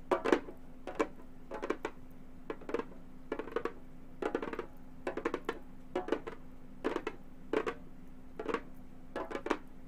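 Gold metal claw tips tap the synthetic head of a hollow frame drum in quick bursts of light clicking taps, spaced through the clip. Each tap is dry with a hollow mid-pitched body and dies away almost at once, over a faint steady low hum.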